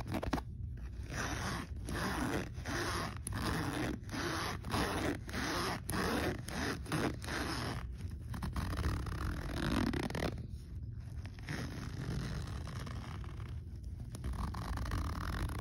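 A hand grips the metal slider of a black fabric backpack pocket zipper and zips it up and down repeatedly. Each pull gives a steady, buzzy ratcheting scrape with brief pauses at the turnarounds, bright teeth clicks over a low rumble.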